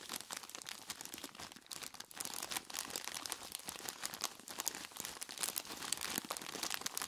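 Gloved hands squeeze and rub a large clear plastic bag tied at the top and full of ice cubes. The plastic gives a dense, continuous crinkle and the ice crunches in many quick, bright, dry bursts, with almost no low end.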